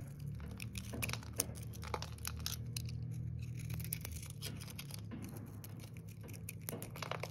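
A metal blade shaves and cuts curls off a solid green, glitter-speckled bar of dry soap held in the hand, with flakes falling away. Quiet, irregular crisp scraping and crinkling strokes repeat rapidly over a low steady hum. Short bright clicks and tearing textures come with each cut.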